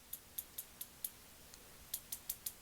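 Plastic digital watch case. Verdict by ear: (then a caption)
Fake. A $5 fake Casio F-91W digital watch with a plastic case is tapped ten times, giving short, bright, rattly clicks with almost no ring. The clicks sound thin and high-pitched, and the watch sounds cheap.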